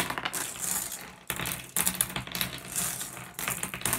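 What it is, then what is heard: Glass gem pebbles. Fingertips pick up and drop small, solid, blue iridescent flat glass gems onto a pile resting on a wooden surface. The result is a steady stream of bright, overlapping clicks and clinks, with short, crisp rattling bursts that swell into louder clusters as handfuls land.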